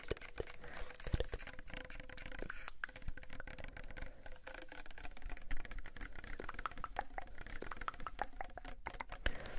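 A small pink Sagrotan plastic hand soap bottle, apparently filled, is tapped rapidly with fingernails and fingertips. The result is a steady patter of short, dry clicks and soft thuds that die away almost instantly, over a low, quiet background.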